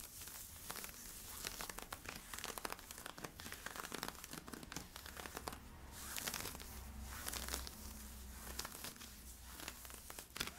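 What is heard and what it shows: Fingertips and nails scratch worn camo polyester-spandex stretch leggings near the waistband and side stripes. The result is a dense run of bright, crinkly scratching and rasping, with quick, short strokes over a low steady hum.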